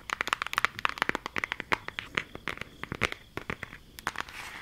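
Long acrylic nails tap and trace across a flat, rectangular, green cardboard eyeshadow palette with a printed eye design, held closed. A rapid series of sharp, dry, bright clicks and scratches follows, easing into a soft, steady scraping at the end.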